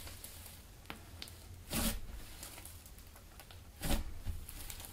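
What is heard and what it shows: A large sheet of blue soft clay slime on a white table is stretched, folded over and pressed flat with both hands and fingertips. Quiet sticky clicks and squishes sit over a low rumble, broken by two louder, bright tearing bursts as the slime is pulled apart.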